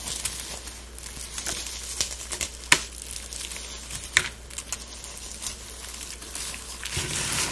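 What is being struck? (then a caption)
Dried rose petals and dried flowers. Gloved hands scoop, squeeze and rub a heap of brittle dry rose buds and pink fluffy dried flowers. The result is a dense, bright crinkling and crackling with irregular sharp snaps, over a faint steady low hum.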